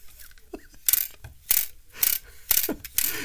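A cheap all-plastic digital caliper from AliExpress is worked back and forth, producing bursts of dry, ratchet-like plastic clicking that repeat roughly twice a second. Each burst is bright and hissy, with little low end, and stops almost instantly with no ring.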